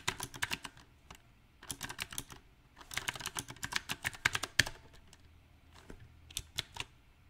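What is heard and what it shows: Fingertips type on a backlit compact mechanical keyboard with round, typewriter-style plastic keycaps on a silver metal frame. About two dozen sharp, bright keystroke clicks come in uneven bursts, separated by short quiet pauses. Each click is crisp and dies away almost at once.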